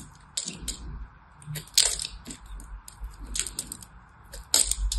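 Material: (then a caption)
Soap. A hand-held, solid orange-and-white striped soap bar is scraped and cut with a small blade. The clip is a run of crisp, dry scraping and crunching strokes with bright, high-pitched crackle, a few louder sharp cuts standing out over a faint low rumble. Each stroke dies away quickly.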